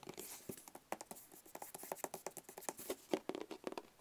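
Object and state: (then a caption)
Hollow cardboard box. Fingertips tap and scratch a small, closed, hollow black cardboard gift box in a quick, uneven run of soft, dry taps. The taps have a hollow mid-pitched knock near 380 Hz and die away almost at once, while light scratching adds a faint bright hiss between them.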